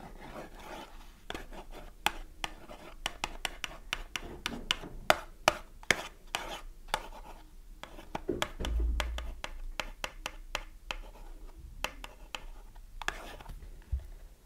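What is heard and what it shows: A small green printed cardboard soap box with a bar of soap inside is held in one hand while long manicured nails tap and scratch its flat face. Many short, dry taps and clicks rise over a soft scratching rustle, with a brief louder brushing swell partway through.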